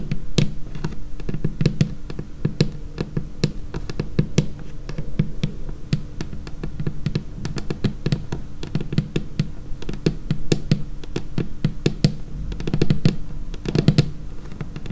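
Long painted nails and fingertips tap near the edge of a large, solid, dark laminated tabletop. They make a steady stream of quick, dry clicks and soft thuds, with short bright nail ticks over a low, warm body. Each tap dies away almost at once, and denser bursts come near the start and around the end.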